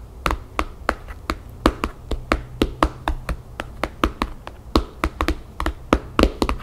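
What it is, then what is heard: Hardcover book cover tapped with fingernails. Long painted fingernails of both hands tap quickly on the cover of a thick, map-printed, paper-covered hardcover album lying flat on a table. About 26 short, dry taps sound in an uneven rhythm, each fading almost at once, over a faint steady low hum.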